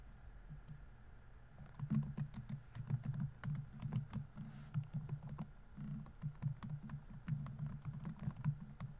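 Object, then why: Plastic laptop keyboard. Fingertips type on the plastic keys of a laptop keyboard, producing a steady run of soft, quick clicks and taps. The keystrokes come in bursts over a low, dull body with brief bright ticks, each tap dying away almost instantly.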